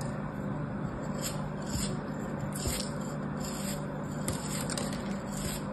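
A partly cut, solid kinetic sand castle shape held in the fingers is sliced and scraped with a metal craft blade, making a steady, soft gritty scraping with a low rumble underneath. Brief bright, crackly bursts stand out as pieces crumble off.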